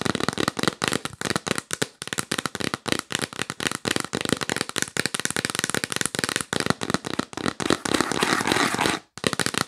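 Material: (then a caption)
Cardboard. Long nails tap quickly on the lid of a hollow, yellow printed cardboard box held upright, making a rapid stream of sharp, dry, papery clicks with a bright crackle. Near the end the taps blur into a brief continuous rustling patch, stop for a moment, then resume.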